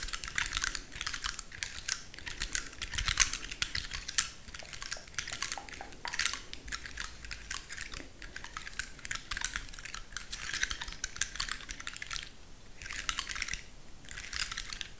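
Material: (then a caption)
Wood. Long nails scratch and flick the open scales of a large, dry, woody pine cone held in one hand. The result is a dense stream of quick, dry, bright clicks and scratchy ticks, much like rapid typing, with brief gaps near the end.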